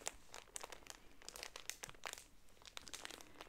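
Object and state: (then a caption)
Plastic-wrapped tissue pack crinkling. A Smart Care pocket tissue multipack in a thin plastic film wrap, soft and filled, is held in both hands with painted nails, squeezed and rubbed, and turned to show its top and front. The wrap gives a quiet, steady run of bright, crisp crinkles and crackles that stop instantly with no ring, over a faint low hum.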